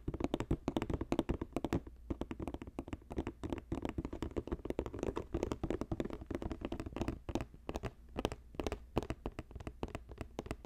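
Fingertips and nails tap rapidly and scratch against the side of a hollow, box-shaped green basket woven from plastic strips. The taps come in fast, uneven bursts of short, dull knocks with a hollow low-mid body, each dying away almost instantly, with only faint brighter scratching between them.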